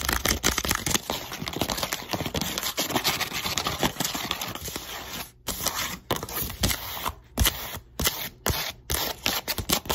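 Long white acrylic nails on both hands tap and scratch quickly across the broad flat top of a hollow brown corrugated cardboard box lying flat. The result is a dense, bright, crackly stream of clicks and scrapes with a dull hollow thud beneath. In the second half the stream breaks into bursts separated by brief silences.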